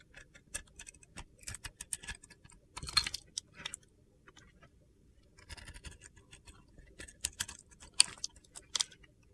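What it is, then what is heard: Glitter-coated soap bar scraped with a blade. A metal utility knife blade scrapes the yellow and purple glitter coating off a solid white soap bar held in hand, peeling it away in curls. The result is a series of quiet, bright, gritty scratches and crisp ticks in short irregular bursts, with almost no low end and no ring between strokes.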